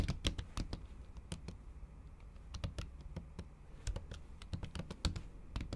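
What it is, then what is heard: Laptop keyboard under silicone cover, typed with long nails. Long acrylic nails tap the keys of a MacBook keyboard under a pink silicone cover while typing. An irregular run of short, sharp clicks is heard, each with a bright tick over a soft low thud that dies away almost instantly.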